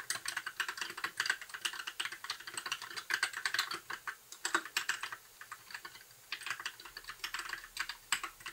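Fingertips type steadily on a compact white mechanical keyboard with plastic keycaps, giving a fast stream of short, bright clacks with almost no low end. Each keystroke dies away almost instantly, and the typing slows briefly before continuing at an even pace.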